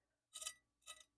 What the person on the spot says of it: And do you hear that? How crispy those tomatoes are.